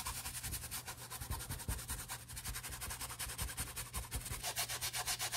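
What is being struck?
Nylon handbag scrubbed with a plastic toothbrush.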